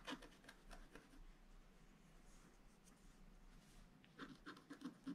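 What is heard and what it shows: A wooden stylus scratches lines at the base of a vase drawn on a flat black-coated scratch art card. Short, dry, scratchy strokes come in bursts at the start and again near the end, each with a faint mid-pitched rasp and a little high hiss. A quiet, steady low rumble fills the gap between them.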